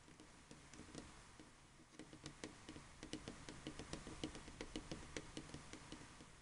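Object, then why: Plastic game controller. Painted fingernails tap along the lower edge and body of a black, hand-sized, hollow plastic Xbox 360 controller lying on a table. The result is a quiet, irregular run of quick, dry clicks that builds to a steadier patter. Each tap is bright and short, with a faint hollow knock underneath.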